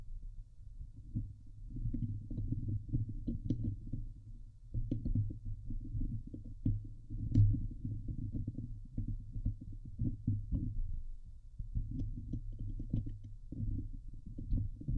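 Long nails on both hands scratch the hollow steel mesh dome grille of a Blue Yeti microphone. The result is a dense, low, rumbling scrape made of rapid muffled rubbing strokes, with occasional brief high ticks, pausing briefly around 4.5 and 11.5 seconds.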